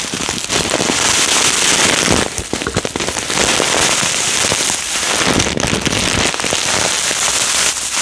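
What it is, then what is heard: Bag of foam beads shaken. A clear plastic bag full of yellow polystyrene foam beads, with a cardboard header, is held and shaken by hand. The beads patter and rattle inside the bag in a steady, dense, bright crackle that sounds like rain or fizzing firecrackers, with only brief dips.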